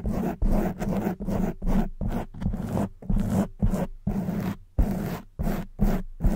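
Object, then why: Foam microphone windscreen. Long white fingernails scratch fast across both sides of a black foam microphone windscreen, making a series of short, zipper-like rasping strokes separated by brief gaps. The strokes are dense and low-centered, with a steady pitch around 200 Hz.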